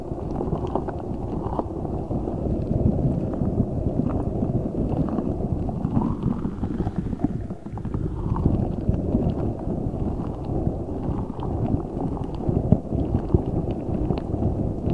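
A large rubber spiky ball filled with gel water beads is squeezed, briefly lifted and rubbed with both hands. The result is a steady, dense, low squelching and rubbing texture with faint soft clicks throughout, holding a fairly even level for the whole clip.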